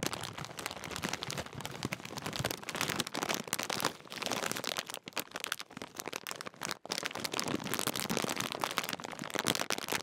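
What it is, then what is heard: Crinkling plastic foil crisp packet. Both hands crumple and crinkle the top of a large Walkers crisp bag made of metallised plastic film. The result is a dense, bright crackling that runs for about ten seconds, with brief quieter dips near the 4-, 5- and 7-second marks.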